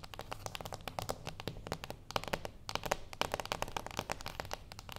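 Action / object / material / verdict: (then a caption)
tap / small closed cardboard box tapped with fingernails / cardboard / none. Long acrylic nails of both hands tap fast on the top of a small, flat, closed cardboard gift box resting on a wooden table. About 28 sharp, dry taps come in an uneven flurry, each a short bright click with a faint hollow papery tone around 600 Hz. There is no ring, and soft crinkly rustling fills the gaps.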